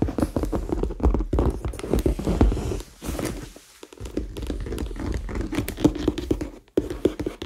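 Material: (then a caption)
Faux leather. A medium, hollow red faux leather handbag, held in both hands, is tapped and scratched with fingertips and nails on its side and top. The result is a dense run of quick, dull, hollow taps mixed with soft scratching, heavy in low thump and with little brightness. The taps stop ringing almost at once, and the sound briefly drops away twice before the tapping resumes.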